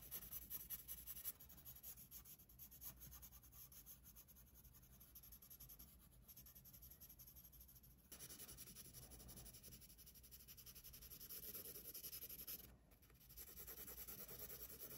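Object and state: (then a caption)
Paper sketchbook page. A graphite pencil rubs and hatches in dense strokes across the page of an open paper sketchbook. The result is a continuous, quiet, dry scratching with a bright, hissy top. The strokes run in quick, uneven succession, and the texture shifts noticeably at about 8 seconds and again near 13 seconds.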